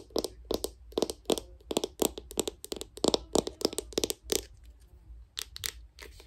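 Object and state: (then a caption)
Plastic cosmetic jar. Long pink nails tap and scratch the black plastic lid and sides of a small round cosmetic jar with a white label, held in one hand. The result is a quick run of sharp, dry, bright clicks with very little low end and almost no ring. The taps thin out toward the end into softer scratching before a final few clicks.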